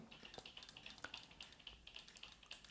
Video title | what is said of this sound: Cocoda CY108 3in1 Selfie Stick (Yunteng VCT-1388) in-depth REVIEW | you can hear a little bit of a sound but that is due to the actual mount at the top